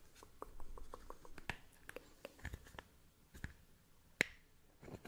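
Fingernails tap a small, hollow, clear plastic toothpick case, making a quick run of dry, bright clicks that stop at once with no ring. The taps are quiet against a low background rumble, and one sharper, louder click stands out near the end.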